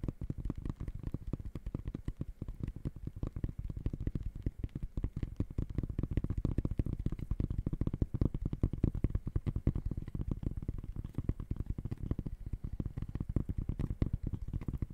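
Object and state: Textile mesh sneaker upper.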